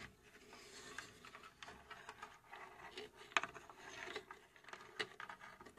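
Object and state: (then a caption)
Plywood puzzle box being scratched. Long acrylic nails scratch and rub the front face, with its dial, of a small hollow laser-cut plywood mechanical puzzle safe by UGEARS held in both hands. Soft, dry, bright scratching and rubbing continues throughout, broken by a couple of sharper clicks that die away almost instantly.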